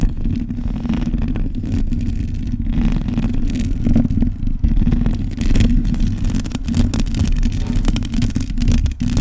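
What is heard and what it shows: Long nails scratch across the top and sides of the bare metal mesh grille of a black microphone. The result is a dense, continuous scraping rumble, heavy in the low end, with brief brighter rasps rising above it throughout.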